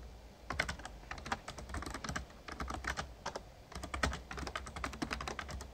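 Fingertips of both hands type rapidly on an RGB-backlit plastic Razer Ornata Chroma membrane gaming keyboard with a hollow casing. The result is quick, clicky key taps in bursts, with a brief pause partway through, over a steady low hum. Each tap is short and dry, with almost no ring.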